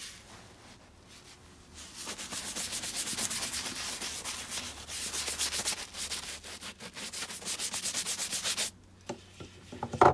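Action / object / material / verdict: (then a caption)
scrape / leather boot / leather / none. A wooden-handled bristle brush scrubs along the shaft and foot of a tall, tan leather boot that is hollow, empty and coated in soap lather. After a quiet start, about six and a half seconds of rapid, bright, hissing back-and-forth scrubbing strokes fill the clip. The brushing then stops abruptly, leaving a few soft taps and a sharper knock at the very end.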